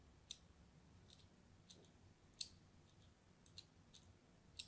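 A hand-held orange-and-white striped solid soap bar is crosshatch-scored with a small metal blade. Eight short, bright, crisp scratch-cut clicks come at irregular intervals over a quiet, low background hiss.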